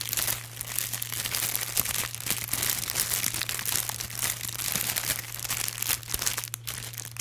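Fingers rub and crinkle a pack of thin, iridescent blue holographic plastic film gift bags held up in one hand. The result is continuous bright, crisp crinkling and crunching with no pauses, over a steady low hum near 100 Hz.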